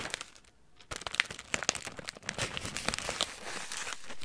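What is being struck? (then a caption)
Plastic bag of crackers. Hands crinkle and squeeze a clear plastic bag of crackers, making bright, dense crackling and rustling with the contents rattling slightly inside. After a brief quiet moment near the start, the crinkling continues in quick, sharp bursts.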